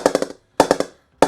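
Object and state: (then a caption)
Cricket bat with good ping at the low part of the blade. A custom Laver and Wood PP01 Signature-grade English willow cricket bat is tapped with a ball low on the blade in three quick runs of taps. Each tap gives a short, bright wooden ping centred around 540 Hz that dies away almost at once. The bat is responding really nicely, with a good ping.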